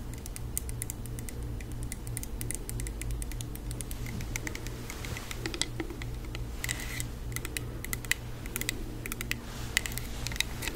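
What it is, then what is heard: Plastic hand sanitizer spray bottle. Long acrylic nails tap rapidly on a small, flat, hollow plastic Touchland hand sanitizer mist spray bottle filled with pink liquid and held in the hands. Quick, light, clicky taps with a bright edge around 2 kHz sound over a steady low hum for the whole clip.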